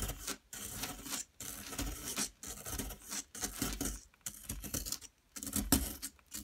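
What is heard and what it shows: A metal pick tool scrapes at a solid yellow plaster excavation block, making repeated dry, rasping scratches in short bursts separated by brief pauses. Crumbs of plaster fall away as it is dug.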